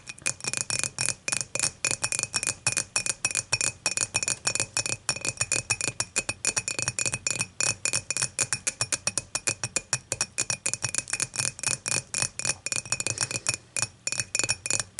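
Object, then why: Glass beer mug. Long matte nails tap rapidly on the top of the wall of a clear, dimpled glass beer mug that is empty and lying on its side. About 74 short, bright clicks with a brief glassy ring come in a quick, uneven rhythm over 15 seconds.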